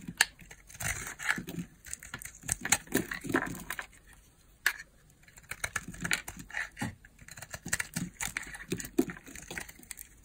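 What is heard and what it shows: A small, solid pink bar of hard soap is held in the palm and carved with a utility knife blade, which cuts and shaves off flakes and slices. Crisp, crackling scrapes and short, bright snaps come in quick bursts, with a brief quiet pause partway through.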